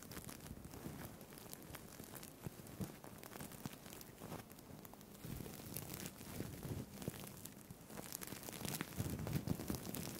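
Fingertips and nails rub and scratch the plastic sequins on a purple-green sequined fabric tie with an elastic band. A steady, dense stream of crinkling, crackling scratches with bright, rough edges runs throughout, growing slightly louder and fuller toward the end.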